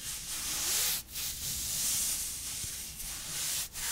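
A hand in a long, thin, sheer black nylon mesh opera glove grips the other gloved forearm and rubs up and down it with the palm and fingertips, creating fabric-on-fabric friction. The result is a steady, bright, hissy rubbing and sliding sound, almost all in the high range, broken by two brief dips where the stroke changes direction.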